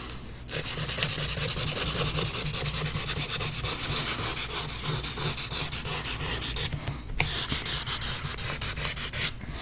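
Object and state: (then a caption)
Paper sheet being drawn on. A pastel or charcoal stick held in the fingers rubs and scrapes across a large sheet of paper, taped flat on a board, that bears a pastel drawing of an eye, while the other hand rests on the sheet. Quick, bright scratchy strokes repeat in a steady rhythm with two brief pauses.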